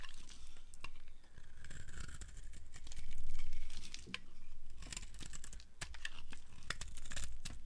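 A solid yellow bar of dry soap, held in the hand, is shaved with a flat blade into long thin curls. Steady dry scraping and crinkly, tearing strokes rise and fall in waves over a low rumble, with bright crackles as the curls peel away.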